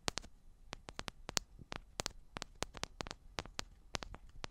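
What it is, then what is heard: Metal microphone body tapped with fingernails. Long black nails tap the tops and sides of two identical silver metal cylindrical microphones, making quick, sharp, bright clicks that die away almost instantly. The taps come in irregular bursts over a faint background hiss.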